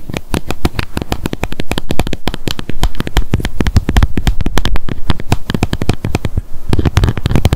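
Long nails rapidly tap and scratch the white plastic cap of a small light-blue plastic sunscreen bottle. The result is a dense, steady stream of quick, dry clicks over a deep, close thumping body, with faint bright scratchy edges.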